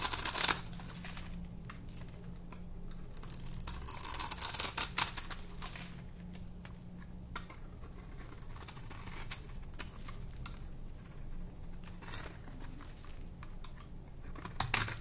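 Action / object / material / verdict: scrape / bar of soap / soap / none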